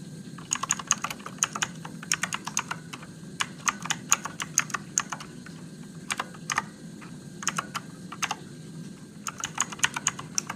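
Fingertips type on a Motospeed RGB-backlit mechanical keyboard with plastic keycaps and blue switches, in bursts of sharp, bright clicks separated by short pauses. Each keystroke snaps crisply and dies away almost instantly over a faint low hum.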